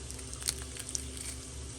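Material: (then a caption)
Fried batter. Battered mustard fried chicken is handled and broken apart, giving a few faint, sharp crackles over a steady low hum. The crust sounds nice and crispy.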